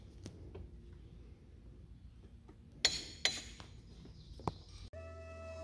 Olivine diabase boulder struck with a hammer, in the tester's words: when you strike the rocks lightly with a hammer they will make a distinct bell-like sound